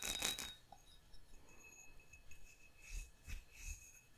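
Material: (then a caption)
Glass. A hollow, empty faceted glass goblet, held sideways, is tapped on its textured bowl and base with fingertips and nails. A loud burst of taps opens the clip, followed by quieter scattered clicks and several soft taps. Each tap leaves a faint bright ring that dies away quickly.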